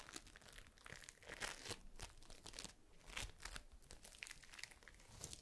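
A palm-sized mass of yellow floam, foam beads in slime, is held close between both hands and squeezed and pressed with fingers and long pink nails. It gives off dense, bright, crunchy crackling in quick overlapping bursts that swell and fade with each squeeze.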